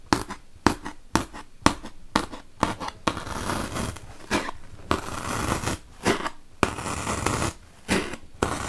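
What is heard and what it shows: Long-nailed fingers repeatedly poke a wooden toothpick into a large, solid white melamine foam magic eraser. Sharp, crisp crunching pokes alternate with longer stretches of dry, scratchy rasping as the pick works through the foam.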